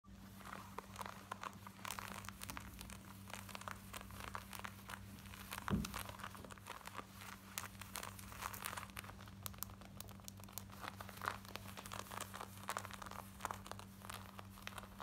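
Long almond-shaped manicured nails scratch and rub fast across worn black denim jeans, thick cotton twill fabric on the body, near the front pockets and fly. Dense, dry, crinkly scratching strokes run continuously over a steady low hum, with a slightly louder scrape near the middle.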